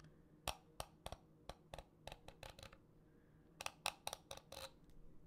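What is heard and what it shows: Fingernails rub and scratch the ridged parts and turn the dials of a small purple, blue and green plastic fidget cube held in the hands near the mic. About fourteen short, bright clicks and scratches sound in two bursts separated by a brief pause. They are quiet and dry, with a faint low hum underneath.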